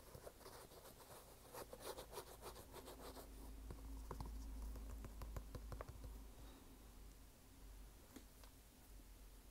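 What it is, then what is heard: Canvas sneaker. Fingernails tap and scratch the red canvas upper of an empty canvas sneaker, near the laces and inside the collar. Quick, dry scratching and tapping is heard over a steady low hum, with scattered sharp clicks.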